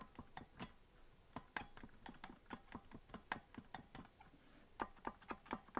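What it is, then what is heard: Plastic melodica keys tapped. Fingertips tap the stickered keys of a green plastic melodica with a hollow body, played without blowing, in quick succession. The result is around twenty short, dry plastic clicks with a hollow midrange knock and almost no ring. The rhythm is uneven, and a few louder taps stand out near the end.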